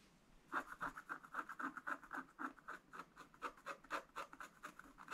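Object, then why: Wax-coated scratch art paper scratched with a wooden stylus. A wooden stylus scratches fine lines into a black, wax-coated scratch art page. After a brief quiet start, a quick, fairly steady run of short, raspy strokes follows, each a dry scrape centered around 1.3 kHz with a bright hiss and no ring after.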